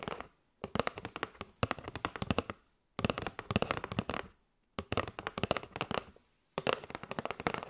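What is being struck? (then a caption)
Cardboard box filled with paper straws. Long nails tap rapidly on a kraft cardboard box with a window, full of paper straws. The taps are dry and crisp, with no ring after each one. They come in several bursts separated by short silences.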